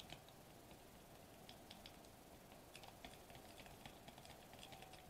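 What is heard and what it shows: Fingertips with short nails tap rapidly on a sheet of foil-laminated plastic bubble wrap lying flat on a table. The sound is a quiet, steady patter of light, crisp clicks with bright ticking edges over a soft, constant low hiss.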